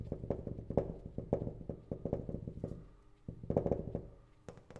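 Fingertips and nails of an open hand tap quickly across a large flat glass pane in the metal frame of a sliding door. The irregular run of dull, low knocks has a faint mid-pitched tone and little brightness. Each tap dies away almost at once, with a short pause before the last few.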